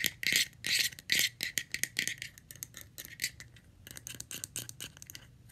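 Long red-painted nails tap rapidly on the top and rim of a round, palm-sized, hollow light blue plastic screw lid that is off its jar. The result is bright, crisp clicking, with dense rattly bursts at first that thin into lighter, uneven taps.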